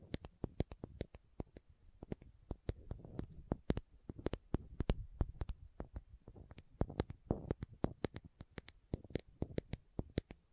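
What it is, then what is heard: Plastic contact lens case tapped and scratched. Long nails tap and scratch a small, hollow, green and white plastic contact lens case held close to the microphone. Quick, dry, clicky taps come in an uneven stream, each dying away almost instantly, with soft scratching rustles in between and a low, hollow body beneath the bright tips of the clicks.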